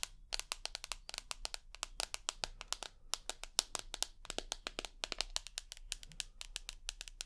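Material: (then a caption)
Glass. Long nails tap rapidly on the glass screen of a rose gold iPhone with an aluminium body and metal edge, making around 49 sharp, bright clicks with almost no ring. The taps come in quick, uneven bursts over a faint low hum.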